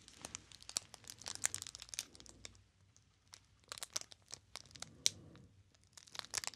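Fingertips squeeze and rub the clear plastic film wrapper of a small solid bar of soap with a paper label, held close to the microphone. Bright, sharp crinkling and crackling comes in dense bursts, with a brief quiet pause in the middle before the crinkling resumes.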